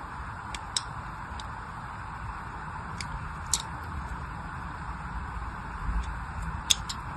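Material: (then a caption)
Soap. An unwrapped pink-and-white striped glycerin soap bar, held in one hand, is scratched and scored with the tip of a small knife blade. Soft, steady scraping hiss runs throughout over a low background rumble. It is broken by a few sharp, bright, very short ticks as the blade catches the surface.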